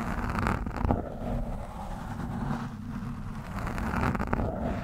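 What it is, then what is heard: Foam microphone windscreen being scratched. The thin steel shaft of a screwdriver scratches and pokes at a soft, porous orange foam windscreen on a microphone. The result is a continuous, dull, low rustling rumble with bursts of scraping, little high-end brightness and no ringing after each touch.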